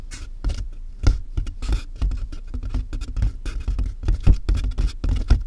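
Both hands tap quickly with fingertips and nails on the sides of a large hollow cardboard box. The result is a rapid, irregular patter of soft, deep, hollow thuds, each with a crisp, papery tick on top, dying away almost instantly.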